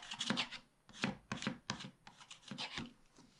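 A wooden stylus scratches the coating near the bottom of a black wax-coated scratch-art page in a spiral pad, which is held down by one hand. A quick series of short, dry, raspy scratching strokes is heard, bright and hissy with a faint papery body, each fading almost at once.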